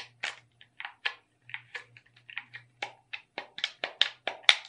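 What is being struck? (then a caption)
Plastic game controller. Long red nails tap and scratch across the buttons and body of a hollow, handheld black plastic gamepad with red accents. Thirteen quiet, crisp, bright clicks come at an uneven pace, each dying out almost instantly, with a faint low hum underneath.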